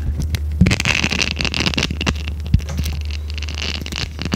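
A small, flexible red silicone scrubber pad with a bristle texture is held in the hands, bent, and scratched and rubbed with long red nails. The result is a steady, dense texture of crackly scraping and rustling over a low hum, with a few sharper clicks standing out.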